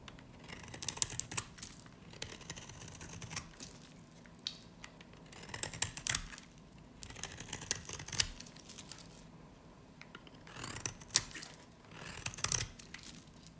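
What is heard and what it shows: A dry, solid pink soap bar with a black varnish coating is held in the hand and scraped and carved with a utility knife blade. Crisp, bright scraping and crackling bursts come in clusters separated by quieter gaps. Each scrape is dry and short, with almost no ring and little low end.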